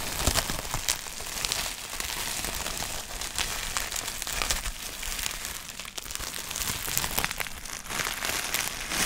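Fingertips tap, press and crinkle a clear plastic bubble wrap sheet with air-filled bubbles, held up in the air. A steady, bright crinkling and crackling runs throughout, dotted with many small sharp taps and pops.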